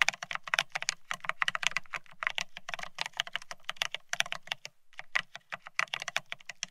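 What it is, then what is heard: Plastic split ergonomic keyboard. Fast typing on a beige plastic split ergonomic keyboard with plastic keycaps, resting on a desktop. Quick, bright clicky key taps come in dense bursts with very short decay, broken by a brief pause near the five-second mark.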